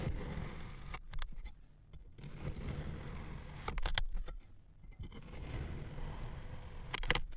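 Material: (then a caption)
Kinetic sand. A thin metal knife blade cross-cuts a large, solid red block of kinetic sand that has been molded into a lips shape and already sliced into strips. The blade makes soft, gritty scraping and crunching as it passes through the packed sand, over a low, muffled rumble. Brighter crackly bursts come near the start, middle and end.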